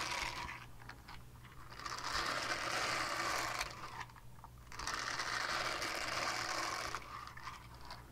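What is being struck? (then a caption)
Silicone scrubber pad. Long painted nails scratch across the textured face of a small, flat, solid purple silicone scrubber pad with a hanging loop. Two sustained bursts of bright, raspy scratching swell and fade, separated by quieter, softer scraping. A faint steady low hum runs underneath throughout.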